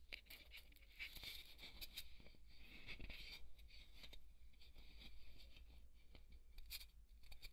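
A wooden skewer scratches and pokes a large, white, solid polystyrene foam ball. Dry, bright scratching and squeaky crunching come in quick, uneven bursts over a steady low hum, with no lasting ring after each stroke.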